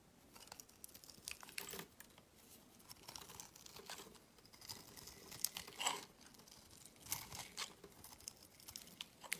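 A utility knife blade scrapes the surface of a solid, hand-sized green soap bar, shaving off fine crumbly shavings. The clip is quiet and bright, with irregular dry scraping and crunchy, crackling bursts of tearing texture. There are no tones or echoes.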